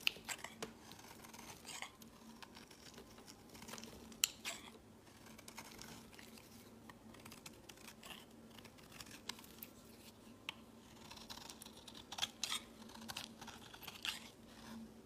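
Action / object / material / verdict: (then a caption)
scrape / bar of soap shaved with a metal blade / soap / none. A metal blade shaves flakes off the edge of a peach-colored solid bar of soap held in the hand. Quiet, bright, crisp scraping strokes come at an irregular pace, with occasional sharper clicks, over a faint steady low hum.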